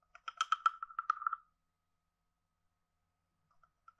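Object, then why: Carved wooden frog guiro. A wooden stick taps and scrapes along the ridges of a hand-sized, hollow, carved wooden frog guiro. A quick run of dry, hollow clicks with a woody tone near 1.3 kHz lasts about a second and a half and fades quickly. After a pause, a few faint ticks follow near the end.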